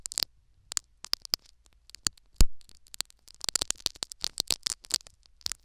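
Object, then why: Foam sponge plug in a silicone ear. Two metal needles poke and scratch a foam sponge plugged into the canal of a silicone ear microphone. Short, crisp, bright scratching clicks come in irregular clusters over a faint low hum, with one heavier muffled thump partway through.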